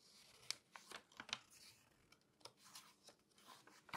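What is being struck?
Glossy paper magazine page.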